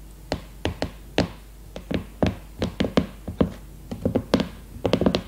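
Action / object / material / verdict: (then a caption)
tap / cardboard hardcover of a notebook / cardboard / none. Long red-painted nails tap the cardboard cover of a closed hardcover notebook with a glossy leopard-print cover, lying flat on a woven placemat. About nineteen short, dull, low-pitched taps come at an uneven pace, each dying away almost at once.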